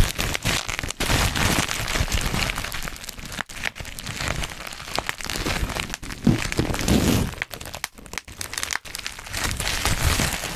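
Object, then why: Plastic bubble wrap sheet. A sheet of black plastic bubble wrap is held and twisted in both hands beside the mic while fingertips pinch, pop and crinkle the bubbles. Dense, continuous crinkling and crackling runs for about ten seconds, broken by sharp, quick pops and backed by a low handling rumble. The texture spreads across the whole range, from low thumps up to bright, high crackle.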